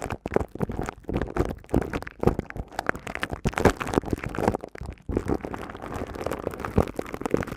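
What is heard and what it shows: Long cream-coloured nails scratch and tap the hollow, hand-sized, silver woven metal mesh head of a studio microphone. The result is a dense, fast stream of dry crackling scrapes and soft taps, mostly low and midrange with little brightness, and each sound dies away almost instantly.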